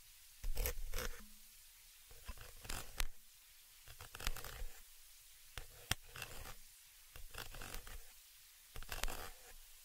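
A thin dark tool scratches and rubs the upper metal mesh capsule grille of a stereo XY microphone. It makes short bursts of raspy, scratchy scraping with bright hiss and a low rumble, separated by quiet pauses.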